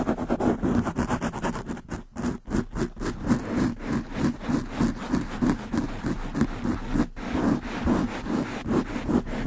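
Long nails on both hands scratch fast at the black foam windscreen of a large condenser microphone. The result is a rapid, uneven run of rough, muffled scraping strokes, about three per second, with a thick low-mid rumble and little brightness. There is a brief gap near the two-second and seven-second marks.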